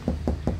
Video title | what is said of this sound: Pasang peredam garansi seumur hidup, peredam mobil jogja | tetap kencang tetap keras suaranya